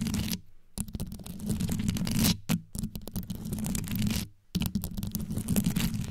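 Long yellow fingernails on both hands scratch fast around the rhinestone-covered grille of a black condenser microphone. The result is dense, crackly scratching over a deep, boomy low rumble, broken by a few brief silent pauses.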